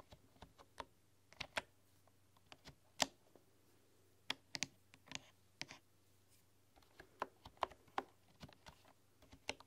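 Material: Bamboo.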